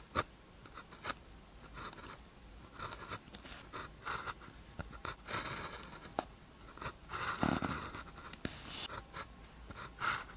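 A blue ballpoint pen tip scratches across a thin white practice sheet with a red grid, lying flat, as characters are written. Quiet, bright scratching strokes come in short bursts with small taps between them, and a longer scraping stroke rises near the end.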